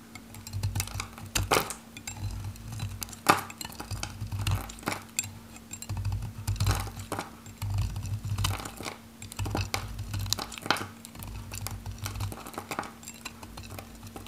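A metal knife cuts small cubes and flakes from the edge of a solid, dry, varnished pink soap bar held in the hand. Repeated short, dry crunchy cuts and scrapes with bright crackly edges sound over a steady low hum. Many quick, irregular strokes follow one another without pause.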